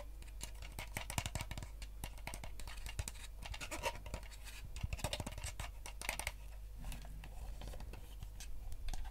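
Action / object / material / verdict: scrape / plastic game controller shell / plastic / none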